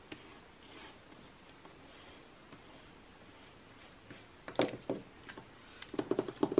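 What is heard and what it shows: Long nails tap and scratch quickly across the same page spread of an open glossy magazine with thin coated paper, lying flat on a table. After about four seconds of faint, quiet rustle, sharp papery taps and brief bright scratches break in, growing denser and louder toward the end.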